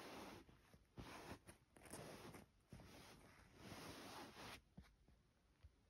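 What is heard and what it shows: Fingertips and long nails trace and scratch across a white printed cotton duvet cover with a floral pattern, its soft fabric lying on a bed. Quiet, breathy scratching swells and fades in uneven strokes, with a few soft taps and bright hissy rustles between them.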